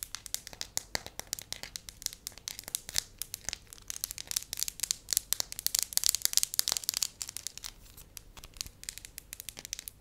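A thin, soft, pale-yellow wax sheet is held up in both hands while fingertips and long nails press, crinkle and tap it. Dense, bright crackles and sharp little clicks come in quick bursts throughout, each dying away almost instantly with almost no low end. The result is a steady, crisp crinkling texture that swells slightly in the middle and eases off toward the end.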